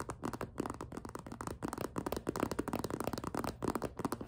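Long nails grip and tap a hollow, empty clear PVC zippered cosmetic pouch with pink trim, held up close. The result is a quick, uneven run of soft crinkly taps and plasticky rubbing, with a low-mid body and very little high sparkle.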